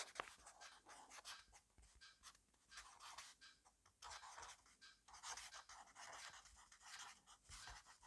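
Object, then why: Fineliner pen on paper notebook. A black fineliner pen scribbles quickly and continuously across an open grid-paper notebook resting on a desk. The pen tip rubs and scratches the paper in a steady run of dry, bright, hissy strokes that swell and fade in short bursts, with almost no low end.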